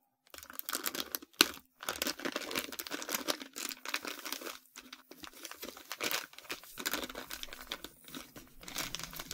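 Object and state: Plastic bag of sand.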